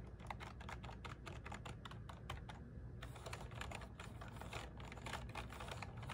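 Fingertips and nails rapidly tap the keys of a small black plastic one-handed gaming keyboard with an RGB backlight, sitting on a desk mat. It makes quiet, crisp, dry clicks in a fast, uneven stream, with a brief lull near the middle, over a steady low hum.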